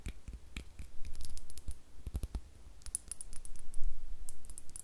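Long nails tap and scratch a small, hollow, clear glass star-shaped bottle with a cork stopper, which appears empty. Quick, irregular clicks and taps come with soft low thumps and bright, glassy ticks that die away almost at once, with brief scratchy strokes between them.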